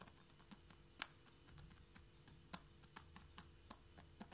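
Long fingernails of both hands tap quickly on a flat wooden or laminate floor just in front of a knit mat. The result is a fast, irregular run of short, sharp, bright clicks that die away almost instantly over a quiet, low background hum.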